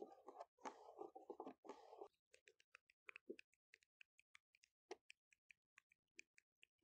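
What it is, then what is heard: Fingernails tapping and scratching on a wooden table. Natural fingernails scurry rapidly across the top of a large, solid wooden picnic table outdoors, making dense, scratchy bursts of rustling for the first two seconds. The sound then breaks into a quick, uneven run of short, dry, clicking taps on the wood, each with a bright edge and almost no ring.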